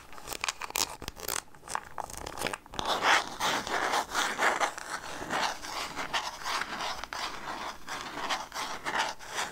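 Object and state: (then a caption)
Plastic peanut jar scratched and tapped. A clear plastic jar full of peanuts with a red plastic lid is turned in the hand while long nails scratch and tap its lid and body. The result is a run of dry, uneven scraping and crinkly clicking bursts with a bright, hissy edge and little low end. The sound fades quickly after each contact.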